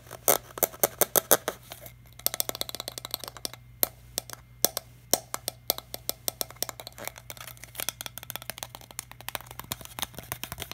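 Fingertips tap the green cap of a small, empty, hollow clear PET plastic water bottle, then crinkle and tap its ridged body. The result is a quick, irregular stream of sharp, dry, bright clicks and crackles with no ring, over a faint steady low hum.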